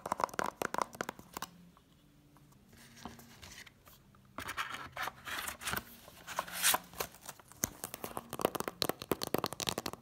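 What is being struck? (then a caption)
Cardboard DVD slipcase. An Incredibles DVD set in its cardboard slipcover is held in the hand while long nails tap and scratch across the front. Quick, sharp, bright taps come in dense bursts, with a softer stretch of light scratching in the middle before the rapid tapping returns, and each tap dies away almost instantly.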